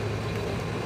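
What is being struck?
Nothing is struck.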